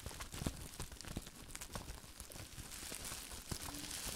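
Hands wrapped in clear plastic bubble wrap are held close to the microphone while the fingers inside crumple and squeeze the wrap. The result is a steady, dense crinkling and rustling with a bright hiss, broken by a few sharper crackles and soft low thumps.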